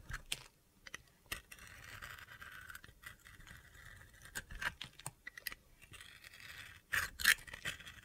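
A utility knife shaves the rainbow glitter coating off a solid bar of soap held in the hand, exposing the white soap underneath. Crisp, gritty scraping strokes alternate with sharp, bright clicks and ticks, with a high-pitched hiss running under the sustained shaves.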